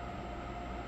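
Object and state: Nothing is struck.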